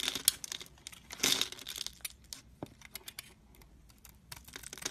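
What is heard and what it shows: A metal utility-knife blade shaves small cubes off a solid, hand-sized green bar of soap scored in a diamond pattern and held in the hand. The result is a rapid series of short, dry, bright crinkling scrapes and crisp cracks, with one louder, longer crunch near the start. There is almost no low end and each cut dies away at once.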